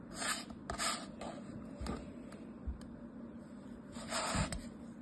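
A thin metal blade slices and scrapes a palm-sized, solid molded yellow kinetic sand turtle resting on white paper, beside an untouched purple sand pile. Quiet, gritty rasping and rubbing bursts with a bright hiss come as the pieces crumble. At the end the turtle is picked up in the hand.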